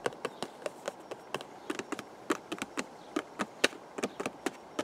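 Fingertips tap the face and narrow side of a hollow purple cardboard teacake box held close up, giving about 21 quick, dry, hollow taps with a papery mid tone near 500 Hz and bright clicky edges. Each tap dies away almost at once over a faint steady hiss.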